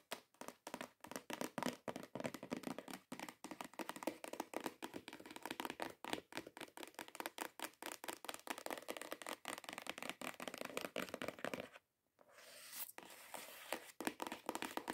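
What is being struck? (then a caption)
Cardboard gift box. Long acrylic nails tap rapidly and scratch on a long, hollow, cream-coloured cardboard perfume gift box. The result is a dense run of short, dry, hollow taps centred in the mids with little low end and almost no ring. Near the twelve-second mark there is a brief silence, then a steady scratching rasp, and the fast tapping resumes.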